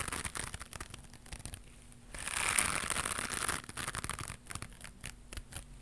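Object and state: Knitted mesh scrubber pad.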